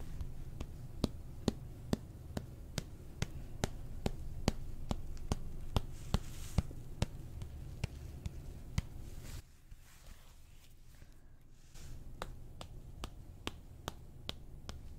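A flat, hand-sized white plastic eyeshadow palette with rows of round pans, thin and hollow, is held up near the microphone and tapped with fingernails and fingertips. About 28 sharp, dry clicks land at a steady, unhurried pace, each stopping instantly with no ring, over a low, rumbling background. Around the middle, the background drops quieter for a few seconds while the light tapping continues.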